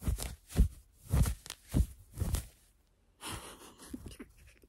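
Hands scratch and rub a worn cream cotton fleece sweatshirt with raised blue-and-white embroidered letters. A run of soft, muffled, low-heavy scratching bursts comes first, followed by a short pause. Then a steadier, brighter rubbing sweeps across the fabric.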